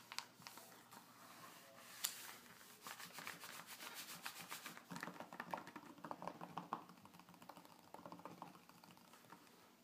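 A flat hand and fingertips rub and scratch across the glossy paper pages of a magazine lying open on a table. The sound is a dry, papery swishing and scraping with bright, crisp edges. It is broken by quick, sharp scratchy strokes, busiest in the middle of the clip.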